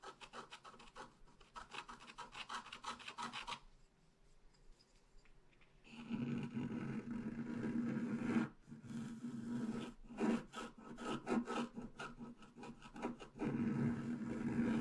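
A wooden stylus scratches out a tree trunk on a flat black-coated scratch art paper sheet with repeated strokes. Quick, uneven rasping scrapes start softly, pause briefly into near silence, then return louder and fuller with a low, papery grind.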